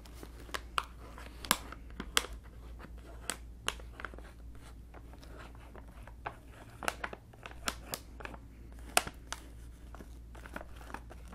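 A full, blue printed plastic snack bag of cheese balls is held in both hands while fingers and long nails squeeze and crinkle it. Sharp, bright crackles and snaps stand out over a quiet, steady low hum.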